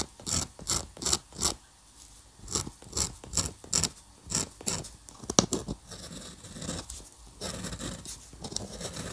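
A metal dip pen nib is scratched in short strokes across a flat sheet of white drawing paper on a table. The strokes give a series of bright, scratchy bursts, some in quick clusters. Toward the end they blur into a steadier, softer scratching.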